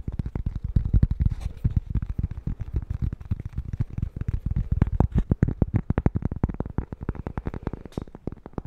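A small, flat, solid square cork-backed coaster is held in both hands and tapped fast with fingertips and nails close to the mic. The result is a dense, rapid run of short, dull, low thuds with almost no ring and very little brightness.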